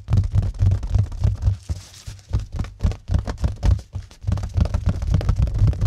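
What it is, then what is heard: Plastic-wrapped mirror being scratched. Fingertips scratch and rub the crinkled cling film wrapped around a flat mirror set in a white cardboard mat, held up close to the microphone. Rapid, uneven bursts of scratching and rubbing, about four per second, come through as deep, boomy thumps with a faint bright crinkle on top, pausing briefly midway before resuming.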